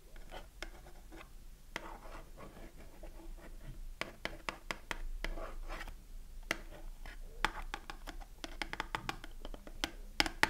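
A small cardboard Dove soap box with the bar inside is held in the hand while long nails scratch across its front surface. Soft, dry scratching and rustling runs throughout, broken by many sharp, bright clicks and taps that stand out clearly from the steady rasp.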